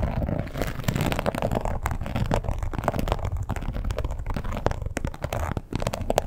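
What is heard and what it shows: Long pointed acrylic nails scratch and tap across a red croc-embossed leather wallet lying flat and closed with a strap. The result is a steady, dense run of soft scuffing and rubbing with a deep, muffled body, broken by quick dry tapping clicks that die away almost instantly.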